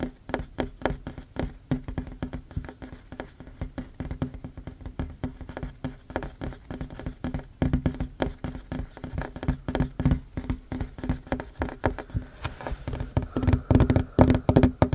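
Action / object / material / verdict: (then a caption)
tap / wooden tabletop / wood / none. Short fingernails and fingertips tap fast across a large, solid, worn wooden tabletop. The result is a rapid, uneven patter of dull, low knocks with a light clicky edge. Each tap dies away almost instantly, and the tapping grows louder and denser toward the end.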